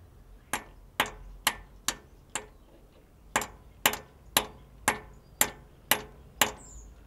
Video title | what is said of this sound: Ferrari Clutch Removal/Refit Part 3 | hear that that sounds a lot harder and that's gone in